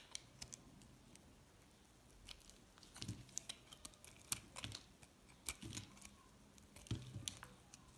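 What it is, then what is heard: Recycled soap bar being shaved. A metal cutter blade scrapes long curling shavings off a light green recycled solid soap bar. Bright, crisp scratches and ticks come in quick bursts over a quiet background, with soft low thuds and scraping swells around the 3, 4.5, 5.7 and 7 second marks.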